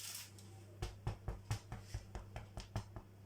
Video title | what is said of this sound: BREAD THE EASY WAY | it wants a hollow sound in it